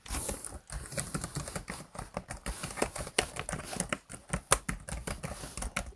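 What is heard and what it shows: Fingertips of both hands type on the keys of a black plastic laptop keyboard. The result is a rapid, uneven stream of short, dry clicks and soft taps, each with a dull low thump and a bright edge that fades almost instantly, with a few brief pauses between bursts.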